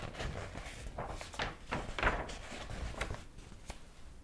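A large old hardcover book with yellowed paper pages is held open in the hands while fingers flip the pages repeatedly. Soft, dry paper rustles and brief brushing swishes recur over a low, steady background.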